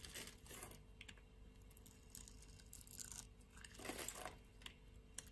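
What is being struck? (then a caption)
Bar of soap scraped with a metal blade. A metal utility-knife blade scrapes across a solid pink bar of soap held in the hand and cuts off cubes. Soft, bright scraping and crisp crunchy slicing come in quiet bursts over a low background rumble, with short sharp ticks as each piece breaks away.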